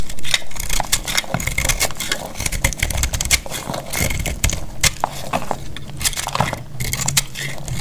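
A solid, cream-colored bar of dried soap is held in the hand and scraped and cut with a metal box-cutter blade, crumbling into flakes. Dense, dry, crackling scrapes and crisp clicking cuts follow one another rapidly, with bright, sharp flaking detail over a low rumble.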